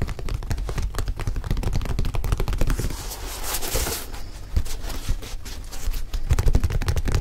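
A single empty white leather high-top Nike sneaker with a rubber sole is held in both hands while fingertips tap and scratch its leather upper. Rapid, dull, low-pitched taps patter steadily throughout, each dying away almost instantly. Around the middle they give way briefly to a brighter, hissing scratch across the leather before the tapping resumes.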